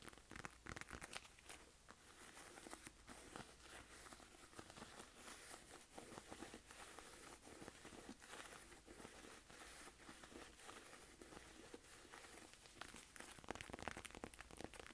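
Long nails tap and scratch the padded front of a small, hollow, coral pink diamond-quilted faux-leather purse with a chain strap. A quiet, continuous stream of crinkly scratching and soft, dry taps follows, with bright, hissy crackle and little low end.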